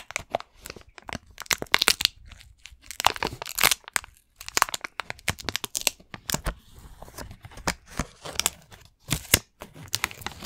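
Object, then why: Plastic video game case. A hollow green plastic Xbox game case is tapped and scratched with fingernails. It gives rapid, irregular bursts of sharp, dry clicks and scratchy, crinkly rasps. The sound is bright and thin with almost no low end, and each tap dies away instantly with no ring.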